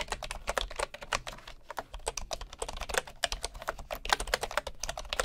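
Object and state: Bamboo wooden keyboard being typed on.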